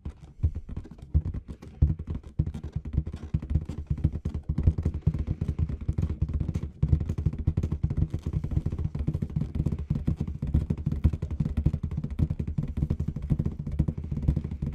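A large, inflated clear latex balloon with confetti inside is tapped and scratched quickly across its surface by long red nails. The result is a dense, continuous stream of soft, deep, drumlike taps and rubbery scratches with very short decay. The energy sits almost entirely in the low range.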